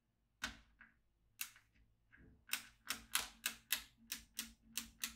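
A yellow magnetic pen is drawn across a black plastic magnetic drawing pad, clicking its steel beads into place. Eleven sharp, bright metallic clicks sound at an uneven pace, each dying away quickly, with a few fainter clicks between the early ones.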